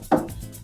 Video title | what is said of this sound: Is The LEGO Icons McLaren MP4/4 & Ayrton Senna Worth Buying? | weighty enough to make a satisfying thud when I knock it against the table